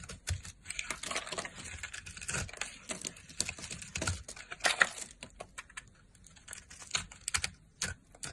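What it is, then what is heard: Bar of soap being carved. A solid blue soap bar held in the hand is carved and scraped with a red-handled blade, and brittle chips break off. The result is a rapid, uneven run of dry, crisp clicks and short scratchy scrapes, bright and close, with almost no ring after each cut.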